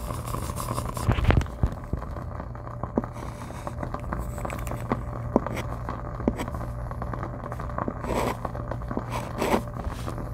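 A white chalk stick writes and scrapes across a flat dark chalkboard with a gold frame, while the other hand holds a lavalier mic against the board. Dry, gritty scratches and small clicking taps come and go over a steady low hum, with heavier scraping strokes near the start and again toward the end.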